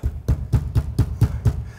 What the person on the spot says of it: Es ist alles ganz ruhig. Da scheppert und dröhnt nichts mit